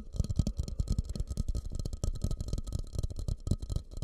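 Fingertips rapidly tap and scratch a medium, fluted, glossy orange bowl, likely glazed ceramic, that sits hollow and empty upside down over the microphone. The result is a quick, irregular patter of deep, muffled thumps with almost no ring, over a faint scratchy texture and a thin steady tone near 1.2 kHz.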